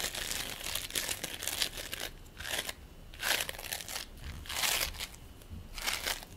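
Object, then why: Ball of polystyrene bead play foam. A fist-sized ball of purple and white play foam (polystyrene bead foam) is squeezed and rolled between the palms and pressed with the fingertips. It gives off dense, bright crinkling and crackling in repeated surges, with little low end.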